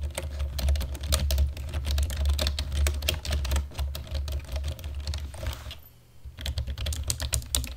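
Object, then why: Plastic computer keyboard. Rapid typing on a black plastic computer keyboard with the fingertips and nails of both hands produces dense, irregular clicky key strikes with bright tops over a steady low hum. The typing pauses briefly near the six-second mark, then resumes at the same quick pace.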